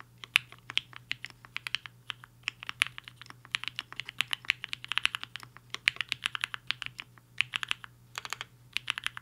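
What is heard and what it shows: Fingertips of both hands type steadily on a HI-FINGER 7.5, a black-cased 75% mechanical keyboard with a hollow case and white and pink plastic keycaps, resting on a desk mat. About fifty short, bright plastic clacks arrive in quick, uneven runs, each dying away almost instantly over a faint steady low hum.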